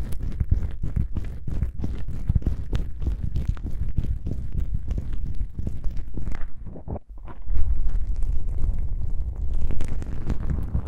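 Long nails scratch across two small black foam windscreen covers on a binaural microphone, then fingertips press and rub them. The result is a dense, deep, muffled rumble of close scratching, a brief quiet dip, and then heavier, boomy rubbing.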